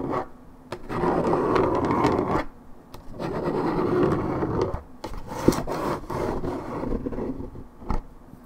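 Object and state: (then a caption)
Paperboard juice carton being scratched. Long nails scratch the top of a hollow, coated paperboard Minute Maid orange juice carton held in hand. Several long, dry rasping strokes come in bursts separated by short pauses, with a papery scrape centered in the low mids and little bright content. A few sharper taps stand out between the strokes.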